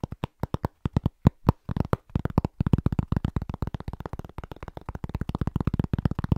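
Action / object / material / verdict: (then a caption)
tap / round pressed-cork trivet / cork / none. A large, thin, solid round pressed-cork trivet held in both hands is tapped quickly with fingertips and short nails. The dull, low, dry taps have almost no ring; they start as separate, evenly spaced knocks, then become a dense, rapid, rhythmic patter.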